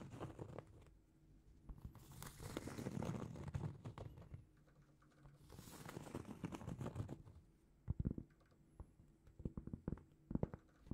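A large, flat, solid round cork trivet is held in both hands and scratched and tapped with long painted fingernails. Two longer bursts of soft, muffled scratching, mostly low in tone, give way to scattered dull taps and short scrapes.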